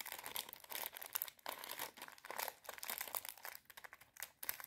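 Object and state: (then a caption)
Plastic bag of popcorn kernels. A small clear plastic bag full of dry popcorn kernels is held in both hands while long red nails tap, scratch and crinkle it. Quick, dry, bright crackles and rustles come in dense bursts, with brief pauses between them.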